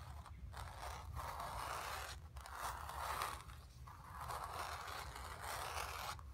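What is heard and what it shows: Long nails scratch the surface of a square, acrylic-painted stretched canvas on a hollow wooden frame resting on carpet. Repeated dry scraping strokes with a rough, rasping midrange character are separated by brief pauses, over a faint low background hum.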